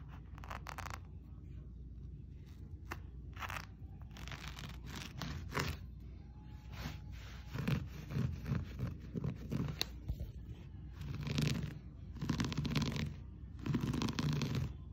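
Fingertips and nails scratch and rub the fibers of a blue and cream looped-pile textile floor rug. Uneven bursts of dry, crackling scratching with a bright, fizzy edge rise over a steady low rumble, growing denser and louder in the second half.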